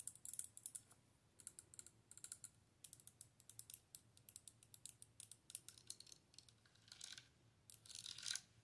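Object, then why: Plastic light-up wand with clear orb. Long nails tap and scratch the hollow clear plastic orb top, full of LEDs, on a handheld light-up wand with a dark plastic handle. Quick, bright, dry clicks come in irregular clusters, and longer, brighter scratching bursts follow near the end, over a faint low hum.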